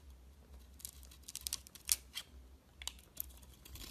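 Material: Soap.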